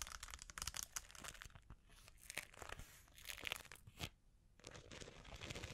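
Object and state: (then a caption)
Rhinestone-covered brush holder. Long painted fingernails scratch and tap a cylindrical makeup brush holder about 20 cm long, possibly hollow, densely covered in glitter rhinestones and held horizontally in both hands; a dangling chain face veil may add faint jingling. Bright, crackly scratches and sharp clicks come in dense bursts, easing into quieter, softer scraping around the middle and again shortly after four seconds.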